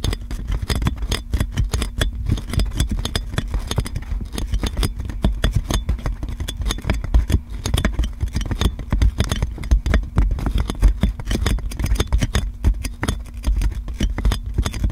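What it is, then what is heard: Plastic cling film on a microphone, scratched and tapped. Long black nails scratch and tap on wrinkled clear plastic cling film wrapped around a large metal microphone. The result is a rapid, continuous stream of crinkly taps and scrapes with heavy, thumpy low end, over a faint steady low hum.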